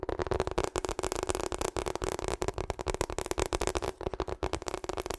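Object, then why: Rubber hot water bottle. Long acrylic nails rapidly tap and scratch a medium-sized, hollow, pink and purple ribbed rubber hot water bottle. The result is a fast, dense run of short, dull taps with a hollow midrange tone and brief scratchy texture between them, each tap dying away almost instantly.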